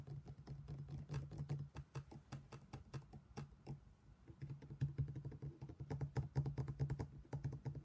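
A black stone pestle held in the hand knocks repeatedly inside an empty, hollow, thick-walled black stone mortar. The result is a quiet, uneven stream of dull, low knocks with a faint tonal ring around 141 Hz that dies away quickly. The taps speed up and grow louder toward the end.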